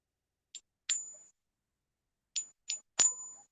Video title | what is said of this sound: I was doing a live stream and then this happened. | doesn't ping very long and it's very high pitched